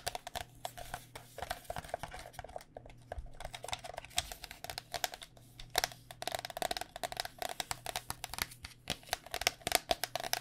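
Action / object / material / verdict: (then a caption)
tap / plastic cycling helmet shell over foam / hard plastic / none. Long dark nails tap rapidly and continuously on the outer hard plastic shell of a hollow white cycling helmet, built over foam and held in the hands. Each tap is a short, bright click with a hollow tone around 700 Hz that dies away almost at once, over a faint low hum.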